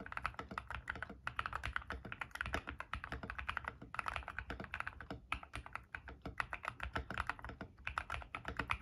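A white-case 60% mechanical keyboard with white and grey PBT plastic keycaps, resting on a desk mat, is typed on rapidly with the fingertips of both hands. The result is a dense, fast stream of short, dry key clacks with a low thocky body and brighter tops. There are brief pauses between bursts.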